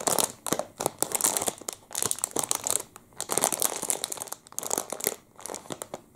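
A full clear plastic wrapper around a chocolate muffin is crinkled and squeezed with the fingers of both hands. It gives dense, bright crackling crinkles in uneven bursts that rise and fade, with little low end.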